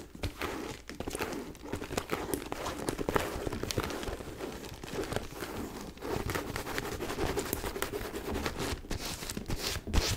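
A white faux leather mini backpack lying on its side is tapped and scratched with long nails across its top surface. The result is a steady, dense run of soft taps and rough scratching at a low, even level, with a few sharper bright clicks near the end.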